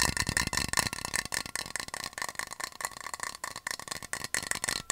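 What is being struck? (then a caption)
Metal water bottle. A hollow yellow metal water bottle with a black loop cap is tapped and scratched quickly with fingernails close to the microphone. The result is a rapid, rattling stream of short, bright clicks and scratchy hiss, with little low end and almost no ring after each tap.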